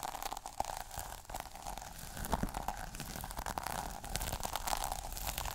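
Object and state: Plastic sequin notebook cover being scratched.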